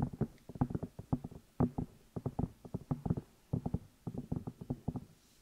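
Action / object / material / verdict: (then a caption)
tap / silicone ear pieces of a binaural microphone / silicone / none. Fingertips and long nails tap and rub the outside of the two hollow rubber or silicone ear pieces on a black binaural microphone. The result is rapid clusters of short, dull, muffled thumps with a low, boomy body and almost no bright top. Each tap dies away almost instantly, with brief quiet gaps between the bursts.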